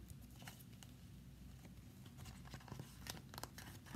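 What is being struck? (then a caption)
Thin plastic folder. Long nails tap and scratch a thin, flat red Five Star glossy plastic folder held upright against the chest. Quiet, irregular clicks and dry scratchy strokes sit over a low, steady rumble, growing sharper and more frequent toward the end.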